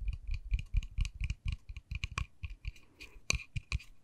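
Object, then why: Small painted wooden miniature door. A small, solid, white-painted wooden miniature dollhouse door with a pink panel and tiny knob is tapped and scratched with long nails and fingertips. About fourteen quick, uneven taps land in four seconds, each a dull low knock with a bright, clicky edge that dies away almost at once, with faint scratching between them.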